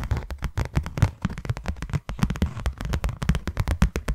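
Long nails tap rapidly across the faces of a closed, hand-sized white cardboard box. The result is a quick, uneven run of short, dry taps with a hollow, low thump in each one and almost no ring. The run pauses briefly at about the two-second mark, then picks up again.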